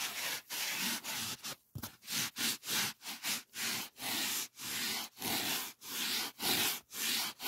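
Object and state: Polyethylene foam sheet.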